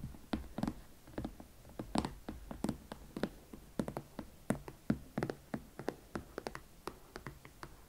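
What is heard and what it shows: Long manicured nails and fingertips tap and scratch the leather side near the heel and chunky platform of a single hot pink leather Valentino Club Platform Chelsea ankle boot with a block heel, held upright, hollow and empty. A steady, uneven series of soft, short taps lands with a low, dull body and dies away almost at once, with faint scratchy friction between them.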